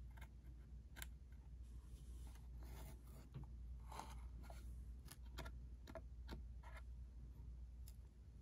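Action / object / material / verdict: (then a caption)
tap / small cardboard box / cardboard / none. A small, hollow, cube-shaped red and white cardboard ink cartridge box is tapped on its side and corner with a single fingertip and nail. Quiet, dry taps and brief bright clicks come in an irregular series over a steady low hum.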